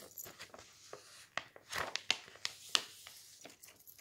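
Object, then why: Glossy paper magazine pages. A flat hand and fingertips rub and press the thin glossy printed pages of a magazine lying open on a stack of magazines on a table, then curl and crinkle the page's edge. Soft brushing gives way to bright, crackly crinkles and sharp, quick paper snaps at an uneven pace, each dying away at once.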